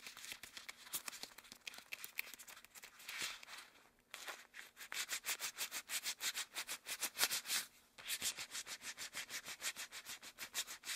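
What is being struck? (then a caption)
Rubber gloves. Long cream rubber gloves are worn on both hands, and one gloved hand rubs and slides over the back and fingers of the other. The result is a quiet, bright, rhythmic squeaking and swishing, with short pauses just after the 4- and 8-second marks.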